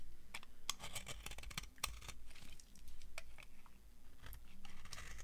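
An old, solid, dry, translucent brown bar of soap is scraped and carved with a metal knife blade. The blade makes a quick run of sharp, dry, crunchy clicks and brittle scratches with bright, crisp edges over a low, steady rumble.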